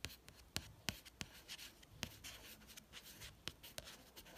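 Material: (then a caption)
Card. A fingertip traces the author name and the photo on the matte card cover of a beige paperback book. Quiet, bright scratchy rubbing is broken by several sharp, dry little clicks at an uneven pace, each dying away at once.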